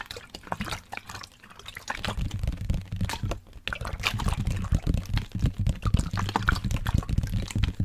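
A large, hollow black plastic sports water bottle with a blue cap, partly filled with liquid, is held sideways and tapped and scratched with fingertips and nails, and possibly shaken. Quick, uneven, low hollow taps mix with scratchy clicks and watery sloshing and dripping sounds. The tapping grows denser and louder after the first two seconds.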